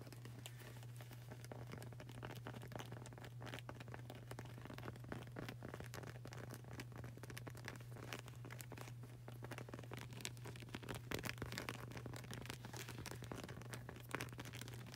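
Fingertips with long burgundy nails quickly tap and scratch a dark grey, textured rubber flip-flop sole with a flag-print edge, which is solid and flexible and held upright. The result is a soft, continuous stream of dense, crackly taps and scrapes over a steady low hum near 137 Hz, staying quiet and even throughout.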